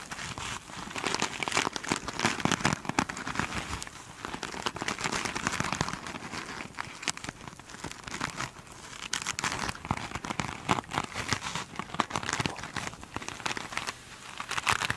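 Long pointed nails scratch and tap the surface of a single soft, solid foam sponge coated in iridescent glitter beads. The result is a dense, continuous crackling and crinkling texture of short, bright scratches that swells and eases in waves throughout.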